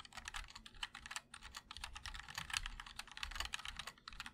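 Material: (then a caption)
ABS plastic. Fingertips of both hands type continuously on a MOD-L 60% mechanical keyboard with linear switches, a black aluminum case and white and black ABS keycaps. The keystrokes come as a rapid, dense stream of short, bright clacks with very little ring and a faint low thump beneath.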